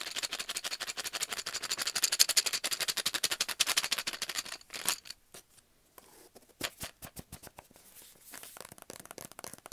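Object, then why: Cardboard tube. Fingertips and nails rapidly tap and scratch the side of a large, hollow, brown cardboard tube held in the hand. The first half is a fast, dense run of dry, bright, papery taps with no low end. It then breaks into sparser, quieter taps and scrapes with short pauses before picking up again.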